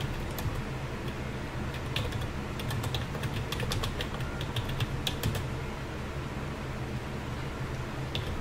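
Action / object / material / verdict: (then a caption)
tap / plastic computer keyboard / plastic / none. A black plastic computer keyboard with hollow key caps, resting on a desk, is typed on continuously with the fingertips of both hands. Bright, sharp key clicks tap out in quick irregular bursts over a steady low hum.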